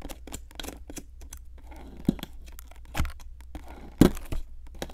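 A metal pick with a wooden handle scrapes a solid pink plaster excavation block, crumbling the plaster. Quick, dry, crackling scrapes and gritty crumbles repeat over a low steady hum, with a few sharper, louder scratches standing out.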